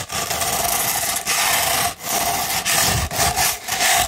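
Long pointed red nails scratch a sheet of coarse No. 150 sandpaper held rolled into a thin, hollow tube. The result is a dense, gritty, bright rasping in repeated long strokes separated by brief dips, with a faint hollow tone ringing under the scratch.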